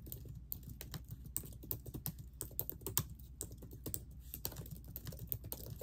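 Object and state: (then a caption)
Plastic laptop keyboard being typed on. Long nails and fingertips on ringed fingers type continuously on the plastic keys of a laptop keyboard set in a silver laptop body. The result is a steady stream of quick, dry key taps with short, bright clicks over a soft, low thump.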